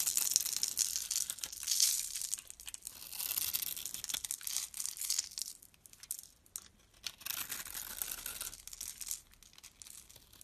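A metal utility blade scrapes the crusty surface of a solid, dark green, rounded, palm-sized bar of soap. The sound is a dry, bright, crackling scrape made of dense clusters of tiny grainy clicks, coming in uneven strokes with short quiet gaps between them, and it has almost no low end.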